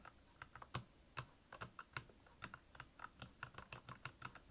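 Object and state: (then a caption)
Plastic mechanical keyboard. Fingertips type on the keycaps of a black backlit plastic Royal Kludge mechanical keyboard, producing about 21 quick, uneven keystrokes. Each press gives a short clacky tap with a low thock body and a brighter click that dies away almost instantly.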